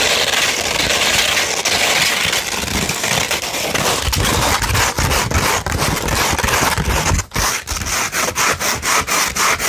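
A sandpaper sheet, first held flat and then rolled into a tube, is scratched with long nails. The result is a dense, gritty, bright rasping that runs almost continuously, then breaks into quicker, separate scraping strokes with short gaps toward the end.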